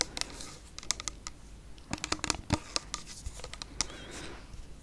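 Long nails tap and scratch a clear plastic cleansing mousse bottle with a pump cap, partly full of pink liquid. About 17 sharp, bright clicks and ticks come in quick irregular bursts over a soft scratchy hiss, each dying away almost instantly.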